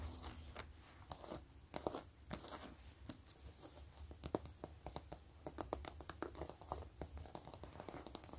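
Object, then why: Quilted faux leather wallet. Long acrylic nails and fingertips scratch and tap along the stitched ridges of a closed, long zip-around wallet made of pebbled gray faux leather with stitched quilting. Quiet, dry clicks and crisp, crinkly scratching come in a rapid, uneven stream over a faint low hum, each tap dying away almost instantly.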